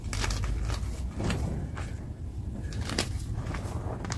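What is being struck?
Magnesium carbonate gym chalk block.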